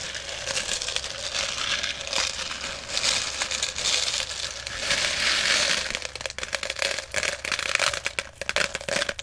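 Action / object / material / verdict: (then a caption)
scrape / small plastic pellets in a plastic jar / plastic / none. Fingers dig into and stir small plastic airsoft BBs in a clear plastic jar that is partly full. A dense, bright, hissing rattle of pellets shifting against each other and the jar fills the first six seconds, then breaks into sparser, separate sharp clicks as the stirring slows.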